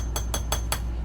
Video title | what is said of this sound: Make With Me Monday - Space Themed Bath Bombs! Using our High Humidity Bath Bomb Recipe! (Replay) | I'm listening for a hollow sound, but I'm also like pulling up as I'm tapping.